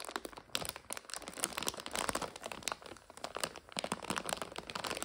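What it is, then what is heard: Plastic noodle bag being scratched and crinkled. Long nails scratch and crinkle the back side of a full, clear plastic egg noodle bag. The result is dense, bright crinkling broken by sharp little crackles, with almost no low end and no ring after each snap.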